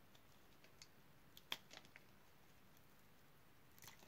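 A utility knife blade cuts and scrapes small cubes off a solid pale green oval bar of dry soap held in the hand. About eight short, dry, crisp crunches and clicks sound over a quiet, steady hiss, with the loudest, brightest snap in the middle. Each snap stops almost instantly.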